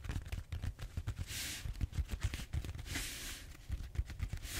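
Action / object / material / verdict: scrape / foam roller / foam / none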